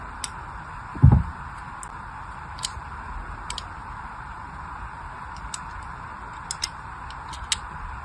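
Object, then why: Glycerin soap bar scored with a small blade. A small blade scores lines into the surface of a solid, palm-sized pink glycerin soap bar held in one hand. Faint, bright clicks and scratches come at irregular intervals over a steady soft hiss, with one duller low thump early on.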